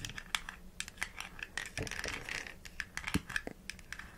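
Long nails tap and scratch a small hollow white plastic supplement bottle with an orange plastic cap and printed label while it is held and turned. The result is a quick, uneven run of sharp, dry clicks with almost no ring, mixed with bright scratching on the cap and body.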